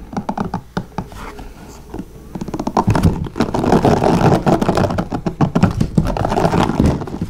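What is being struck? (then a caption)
Plastic paddle hairbrush. Fingertips of both hands rapidly tap and strum the white plastic bristles of a blue plastic paddle hairbrush lying bristles-up on a notebook. The result is a fast, irregular run of short, dry clicks and scratchy flicks. The sparse taps at the start build into a dense, continuous scratching patter.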